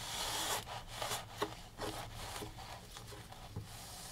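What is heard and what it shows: A gloved hand rubs a microfiber rag across the top of the canvas, near the wooden frame, of an upright framed oil painting. The result is a steady, soft, breathy rubbing with irregular swishing strokes, mostly bright hiss with little low end.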